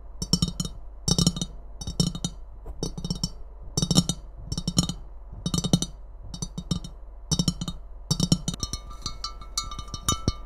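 A hollow, empty white and red ceramic Christmas mug is tapped and scratched on its body and rim with long painted nails. Rapid clusters of short, dry clicks recur in bursts, with a low hollow knock around 176 Hz under bright, crisp ticks. Near the end, faint thin ringing tones sit behind the tapping.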